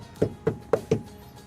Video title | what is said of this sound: Camry hybrid full damping จัดเต็มกับงานแดมป์3เลเยอร์. ประตู/พื้น/ซุ้มล้อ/หลังคา | เช็คเสียงไปด้วยเคาะแล้วก็เสริมไปด้วยครับไหนที่ยังอ่อนก็เสริมเข้าไปครับ